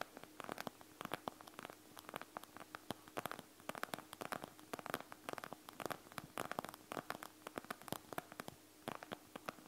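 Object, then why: Plastic gel bead eye mask. Long nails continuously scratch a panda gel bead eye mask, a plastic shell filled with gel beads, lying flat on a table. A quiet, dense stream of short crackly scratches and clicks with a bright edge sounds over a faint steady hum. Each scrape dies away almost instantly.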